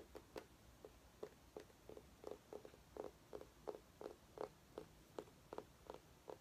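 A small, glossy, ribbed orange mini pumpkin, possibly artificial, is held in both hands and tapped and scratched with painted fingernails. About sixteen short, hollow, mid-pitched taps land at an uneven pace over a soft, steady scratching hiss. The taps are quiet and die away almost instantly.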